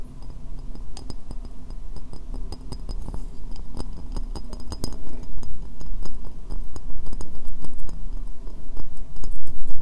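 Long nails tap and scratch the outer surface of a white ceramic bowl, hollow and empty and held upside down. Quick, light clinking taps mix with scratchy strokes at an uneven pace over a steady low hum. The taps ring only briefly and grow louder toward the end.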